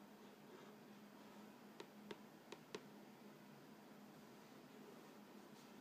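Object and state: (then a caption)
Cardboard cracker box. Fingernails scratch and rub the front face of an upright Vegetable Thins crackers box, made of thin printed cardboard, hollow and filled with crackers. A very quiet, steady soft scratching hiss runs throughout, broken by four short, sharp taps clustered near the middle, each dying away almost instantly.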